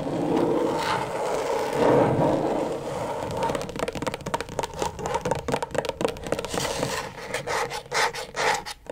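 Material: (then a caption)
Plastic. Long pointed acrylic nails scratch across the plastic surface of a flat, thin, backlit rectangular LED tracing pad, making a steady raspy scraping for the first few seconds. The scratching then breaks into fast, uneven bursts of sharp clicky taps and short scrapes that continue to the end.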